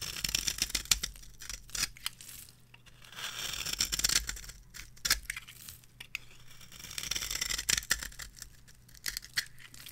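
A metal blade cuts a grid pattern into the surface of a palm-sized, solid orange rectangular bar of dry soap and scrapes it. The result is a run of bright, dry scratching and crisp crumbly scraping strokes. Sharp clicks stand out over a faint low hum.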